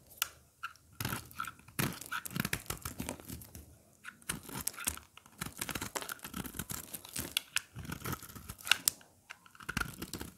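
A short craft blade scrapes and cuts curls and chips from the face of a dry, hard, rectangular solid green soap bar with cheese-like holes, held in the hand, and the shavings fall onto a pile. Dense, crisp, bright scraping and crackling cuts come in rapid bursts of short dry snaps that stop instantly without ringing.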